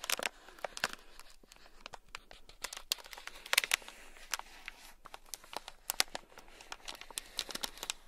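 A thin black stick scratches across a small, sealed, clear plastic bag packed full of tiny gold beads. The result is a rapid, uneven run of crisp, bright crinkling scratches and sharp ticks with almost no low end. Each one cuts off instantly over a quiet hiss.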